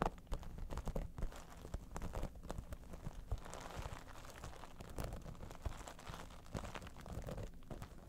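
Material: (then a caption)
Vinyl. Long nails scratch and tap the top and side near the edge of a hollow holographic vinyl cosmetic bag, an iridescent dimpled synthetic pouch. The result is a steady, quiet stream of crinkly, crunchy scratching broken by soft, dull taps that die away almost instantly, with a muffled, low-heavy tone.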